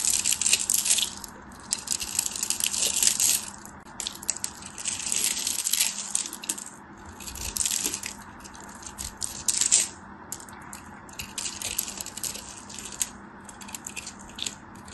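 A palm-sized, solid, dry, opaque white soap bar is held in the hands and carved and scraped with a black craft knife, and crumbly flakes break off. The sound is a dense run of bright, crisp scraping and crackling bursts with a faint low hum beneath. It swells and fades in waves over the whole clip.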